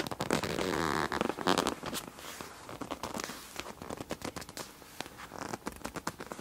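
Two hands with long dark nails slowly grip and squeeze a medium, flat, clear PVC zip pouch with a black palm-leaf print, full of felt-tip markers and lying on black fabric. A louder burst of dense plastic crinkling in the first two seconds gives way to quieter, irregular crackles and small clicks as the markers shift inside.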